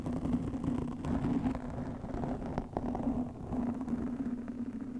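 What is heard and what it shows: Long nails scratch a black foam windscreen fitted over a microphone. The result is a continuous, muffled rustling scrape, dense in the low and mid range with little high end, over a steady low hum.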